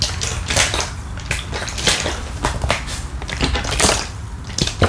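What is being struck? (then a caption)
Partly filled plastic water bottle. A medium-sized, clear plastic drinking-water bottle, hollow and partly filled with water, is held in one hand close to the microphone and shaken or squeezed. Quick, dense bursts of bright crinkling and crackling plastic overlap with a low rumble of sloshing water. The result is a steady, busy texture of short, dry crackles.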